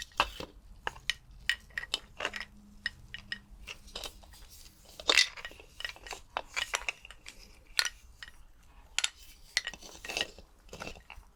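Skeleton bones are clinked together in a quick, irregular series of sharp, bright clicks and clinks with very short ring. A faint low hum sits underneath, and one louder clatter stands out near the middle.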